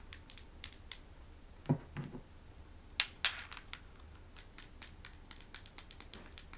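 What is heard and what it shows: A small, smooth, solid river stone with a painted animal design, held in the palm, is tapped and scratched with long acrylic nails. Sharp, bright clicks and scraping ticks come in an irregular stream, with a few louder knocks near the middle, over a quiet low hum.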